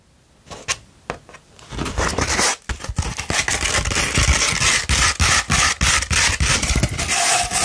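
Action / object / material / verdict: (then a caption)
scrape / sandpaper sheet / sandpaper / none. A No. 150 grit sandpaper sheet with a printed backing is rolled into a tube and scratched with long nails. A few separate scrapes give way to fast, steady, gritty scratching with a bright, dry hiss and a soft low thump under each stroke.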